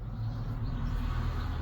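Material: Nothing is struck.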